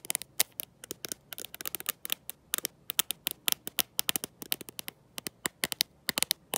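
Long nails fitted with gold metal paperclips tap and scratch the glossy glass back of a black smartphone, held in one hand with no case. The result is a quick, uneven series of sharp, bright clicks with very little low end, each dying away almost instantly, with faint scratchy rasps between them.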